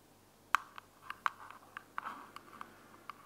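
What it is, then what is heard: Plastic earbuds case, hollow. Long glittery fingernails tap and scratch the flat top of a small, closed, hollow white plastic earbuds charging case held in one hand. Eleven light, dry clicks land at an irregular pace, with faint scratching in between. Each click is a quiet midrange tick that stops at once, with no ring.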